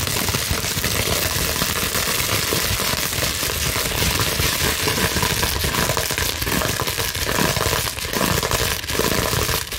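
Long nails scratch quickly across a clear plastic bubble wrap sheet, producing a dense, continuous crinkling and crackling. The sound is bright and broadband, with a steady loudness throughout and faint dips near the end.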